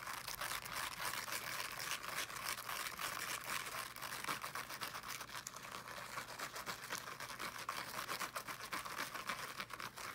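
Fingernails scratch quickly over the woven fabric mesh of a small teal fabric-covered speaker held in both hands. The result is a steady, dense stream of fast, dry, bright scratching strokes with a hissy texture, little low end, and no pauses.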